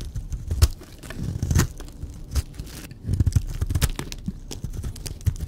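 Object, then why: Bar of soap. A blade scrapes and shaves the surface of a solid, dry purple baby soap bar, making a series of short, crisp scraping and crunching strokes. The sound is dense, soft and low-heavy, with a few sharper bright clicks.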